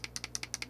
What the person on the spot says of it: you shake it so hopefully you can hear it's like there's something in there